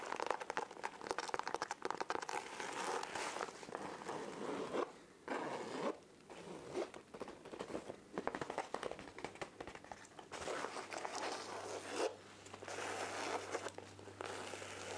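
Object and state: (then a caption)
Fabric backpack. A small beige patterned fabric backpack, soft and hollow, is held in the hands and scratched and handled with long painted nails. Dense, dry scratching and rustling fill the clip, broken by brief pauses, and the backpack's zipper is heard among the textured scraping.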